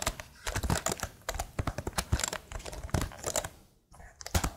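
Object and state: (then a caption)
Plastic laptop keyboard. Long fingernails on both hands tap rhythmically across the keycaps of a tilted plastic laptop keyboard. The result is a rapid run of short, dry clicks with bright edges and soft low thumps, with a brief near-silent pause before the tapping resumes.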